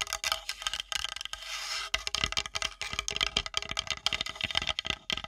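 Long nails rapidly tap and scratch the edge and top of a flat, solid, light-colored wooden plate held edge-on above the microphone. The result is a dense run of crisp, bright clicks and scrapes with almost no low end, each dying away almost instantly, around a ringing tone near 3 kHz. A sustained scratching passage sounds just before the two-second mark.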